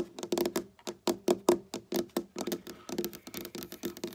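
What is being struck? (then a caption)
Wooden tabletop. Long black-painted nails on both hands tap and click rapidly across a dark wooden tabletop, a large solid surface. Around twenty distinct, crisp taps sit in the midrange with a short woody ring near 350 Hz and very little deep bass. Each tap dies away almost at once, giving a dry, clicky patter.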